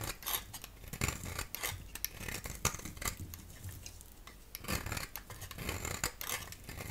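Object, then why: Bar of soap. A solid yellow rectangular bar of soap is held in the hand and scraped with a utility knife blade. A series of short, crisp scraping strokes with a bright, gritty texture plays over soft low thuds, each stroke ending quickly with almost no ring.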